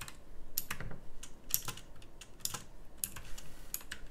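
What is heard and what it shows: Fingertips type across a full-size backlit pink mechanical keyboard with round plastic typewriter-style keycaps. A quick run of sharp, bright clicks sounds, each keystroke short and dry over a soft low rumble.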